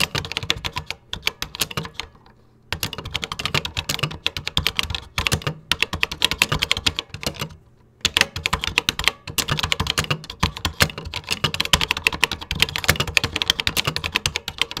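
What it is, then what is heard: Plastic computer keyboard. Fingertips type across the keys of a vintage 1980s plastic computer keyboard, producing rapid, bright, dry clacks with very little ring. The typing comes in bursts with brief pauses near the two-second and eight-second marks.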